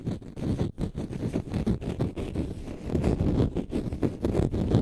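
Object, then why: Dry konjac sponge. A palm-sized, solid, porous, pale-green dry konjac sponge is held in the hands and scratched with short fingernails. The result is a dense, rumbling, low-pitched scraping in irregular bursts, heavy in the bass with little brightness.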